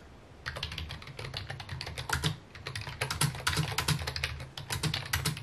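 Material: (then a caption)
Plastic. A full-size white/mint plastic keyboard with a hollow housing, resting on a wooden desk, is typed on rapidly with fingertips. After a brief quiet start, a dense run of crisp, bright key clicks begins, with a hollow low thump around 150 Hz under each tap and very short ring.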